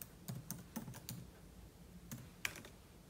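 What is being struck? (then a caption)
Laptop keyboard, plastic keys on metal body. Fingertips type continuously on the plastic keys of a silver aluminium laptop keyboard, producing a series of short, dry key clicks with bright tops and a soft low thud beneath. The taps come in irregular bursts with a gap before a final few, one sharper than the rest.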